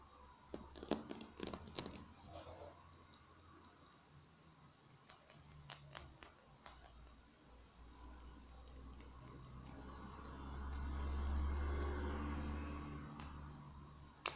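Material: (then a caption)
Plastic. Fingers tap on a plastic marker pen, making quick, sharp clicks and taps in uneven bursts. A low, steady rumble sits beneath them and swells briefly near the end.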